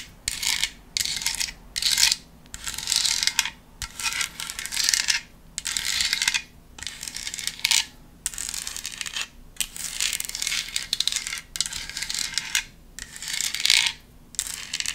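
A hand-sized black decorative foam craft pumpkin with a white spiderweb print is held in one hand and tapped and scratched with long nails. The result is repeated bursts of bright, crisp scratching and clicking, separated by brief pauses, with almost no low end.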